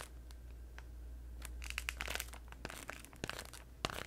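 A hand-sized pink Orbit chewing gum multipack in crinkly plastic packaging is held close and crinkled and tapped with long nails and fingertips. Bright, sharp crackles and clicks come in quick bursts over a steady low hum. The crinkling builds toward the middle and ends in a few louder taps.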